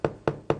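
A screwdriver gently taps three times on a two-piece plaster mold for a silicone foot prosthesis, each a short, dull knock with a hollow midrange tone near 450 Hz that dies away quickly. The hollow sound shows the two mold halves coming loose and separating.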